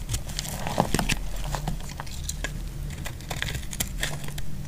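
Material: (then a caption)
Soap. A utility knife blade scrapes and cuts into the surface of a solid cream dry laundry soap bar held in the hand. Dense, dry crackles and crisp scraping clicks come in quick succession over a steady low hum.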